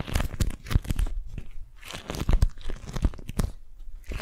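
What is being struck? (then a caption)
Beeswax-coated cotton food wrap. A single orange, yellow and teal beeswax-coated cotton food wrap is balled up in both hands as fingers crumple, squeeze and grip it. The result is a continuous crinkly, sticky crackling with many quick, dense crunches and brief tearing-like bursts.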